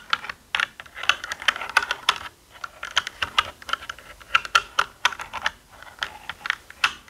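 Fingertips of both hands press and tap the plastic keycaps of a black, full-size mechanical computer keyboard with a hollow body resting on a desk. About thirty quick, sharp clacks come in an uneven typing rhythm. Each is bright and hollow-sounding, with almost no low end, and dies away almost instantly.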